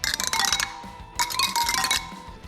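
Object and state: Properly tensioned motorcycle wheel spokes.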